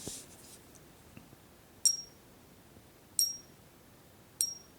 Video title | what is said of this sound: Fake silver and 4 non-intrusive tests to verify your stack | dull there's no real lasting vibration there and high pitch